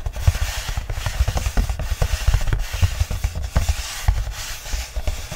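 Fingertips and short nails rub and scratch the flat black inner page of an open paperback book lying on a fleece blanket, with the solid paper stack underneath. The result is a steady run of soft, dull low thumps and brushing scrapes, with quick bright scratchy flicks over a muffled, bass-heavy body that dies away almost instantly.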